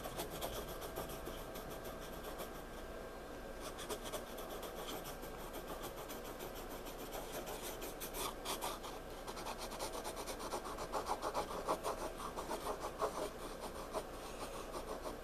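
A pencil tip rubs and scratches across a page of a spiral-bound paper sketchbook in repeated shading strokes. A steady, quiet, dry rasp of fast, irregular strokes runs throughout, turning a little louder and brighter in the second half.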